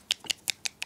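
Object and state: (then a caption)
Paint bottle with a metal mixing ball inside. A plastic Army Painter paint bottle with a small metal mixing ball inside is shaken, and the ball rattles in five short, bright clicks. The ticks are sharp and dry with almost no low end, showing the bottle already holds a mixing ball. The ball is there to make the paint easier to mix.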